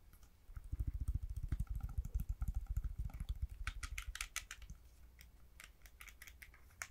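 Fingertips tap and click the buttons and plastic surface of a hollow hard-plastic Nintendo Switch Joy-Con grip, held in both hands, with the blue and red Joy-Cons attached. Rapid, irregular, dull, low-heavy tapping runs from about half a second to three and a half seconds. It then gives way to quieter, sparser, sharp bright clicks with almost no ring.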